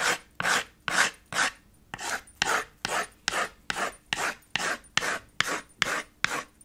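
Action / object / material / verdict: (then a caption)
scrape / chalk on a small wood-framed chalkboard slate / chalk, slate / none. White chalk held in the fingers rubs back and forth in fast hatching strokes across the middle of a small black chalkboard slate with a red wooden frame. Fourteen short, bright, raspy scratches follow one another at a quick, fairly steady pace, each a hissy burst that stops abruptly with no ring.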